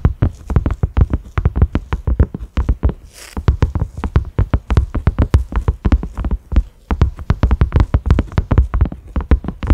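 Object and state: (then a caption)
Silicone pot lid. Fingertips and nails of both hands quickly tap a cream silicone pot lid with concentric ridges and a black center knob. The result is a rapid, uneven patter of dozens of soft, dull, low thuds that stop almost instantly, with faint brighter clicks. The tapping pauses briefly twice along the way.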